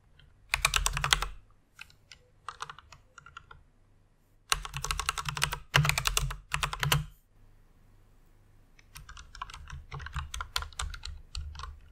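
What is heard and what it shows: Fingertips with long red nails type on a full-size white mechanical keyboard with plastic keycaps, resting on a pink fur pad. Quick bursts of bright, clacky keystrokes with a low thump beneath alternate with scattered single taps and a short quiet pause. The typing resumes softer and steadier at the end.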